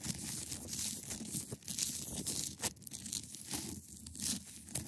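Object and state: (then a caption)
Ice block. Long acrylic nails scratch across the top and edge of a large, solid, clear ice block. The result is a steady, dense, bright scratching and crinkling texture with brief louder rasps and a soft low rumble underneath.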